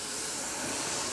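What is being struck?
Nothing is struck.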